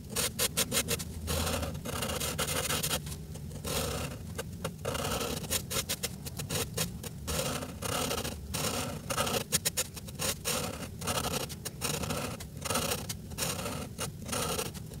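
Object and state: Felt-tip marker coloring on paper.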